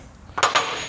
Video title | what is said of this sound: Save Your AXLE! How To Replace the WEAR SLEEVE on a Boat TRAILER | Cuz it will completely change the sound. it have that dead sound on it.